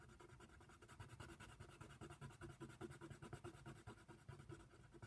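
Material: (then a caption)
Paper. A hand colors a giraffe's head with a brown colored pencil on a white paper coloring sheet lying flat on a table. The pencil lead makes a steady, quiet scratching against the paper in quick, uneven back-and-forth strokes, with a soft low rumble under a dry, papery rasp.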